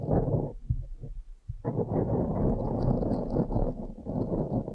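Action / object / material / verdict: scrape / foam microphone windscreen / foam / none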